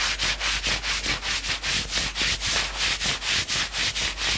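A hand rapidly scratches and rubs the maroon knit sleeve of a worn sweatshirt. The bright, dry scratching swells and dips in a fast, steady back-and-forth rhythm, with almost no low end. The rubbing keeps an even pace throughout the clip.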